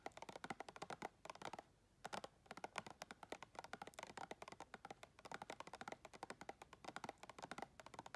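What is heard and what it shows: Long red acrylic nails tap and click rapidly on the side wall of a round clear plastic tub, held in hand and filled with white plastic items. The sharp, dry clicks centre around 1 kHz with bright edges and almost no ring, breaking briefly just before the two-second mark before running on at a fast, uneven pace.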